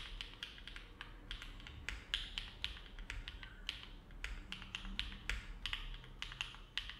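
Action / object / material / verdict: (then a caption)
tap / mechanical keyboard with aluminum plate and plastic keycaps / plastic / none. Fingertips of both hands type continuously on a compact Neo70 mechanical keyboard with an aluminum plate, foam dampening and dark GMK plastic keycaps, resting on a desk mat. The result is a steady, uneven stream of short, bright clacks that peak around 3.3 kHz and die away quickly, over a low, soft background rumble.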